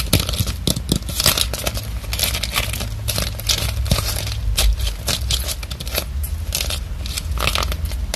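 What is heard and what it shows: A small orange hollow plastic craft pumpkin with a stem and raffia is held up close, grasped, and tapped and scratched with long acrylic nails along its ribbed surface. Dense, crinkly scratching and quick bright ticks run throughout over a steady low rumble.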